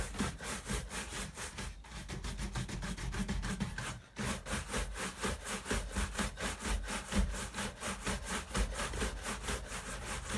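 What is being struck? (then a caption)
Leather sneaker upper and bristle brush. A hand-held bristle shoe brush is rubbed rapidly back and forth over the leather upper of a tan leather high-top sneaker resting on a wall rack. The strokes make a steady, scratchy rasp, about two per second, with a low rumble and a brief pause near the four-second mark.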